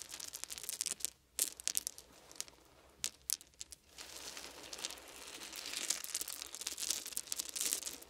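Fingertips rake and rub through a pile of small round wooden beads, then scoop them up in cupped hands. Quick, bright clicks and rattles come in bursts with brief quiet gaps, then settle into a denser, steady clattering hiss as the beads are gathered up.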